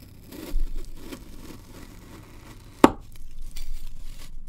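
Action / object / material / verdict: strike / packed kinetic sand block cut with a steel knife / kinetic sand / none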